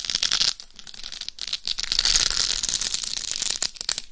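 Long nails scratch and tap across the face and top of a hollow, life-size dummy head microphone covered in rhinestones. The result is a dense, crackly, rattling scratch that is almost entirely high and bright, with very little low end. Brief quieter gaps fall between the scratching passes.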